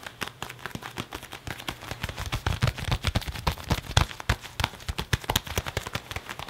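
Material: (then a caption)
Leather. An open hand and fingertips rub and grip the sleeve of a black leather (possibly faux leather) jacket being worn, on the arm crossed over the chest, creasing the leather. The result is a rapid, continuous run of short creaks and crinkles, with dull low thumps under bright, crackly edges.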